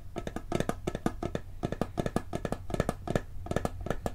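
A hollow, round blue and gold metal cookie tin, held tilted in both hands, is tapped rapidly on its lid with the fingertips. The taps are quick, dry and hollow-sounding, with a low tone around 150 Hz that dies away almost instantly. They come in an uneven, fast rhythm over a steady low hum.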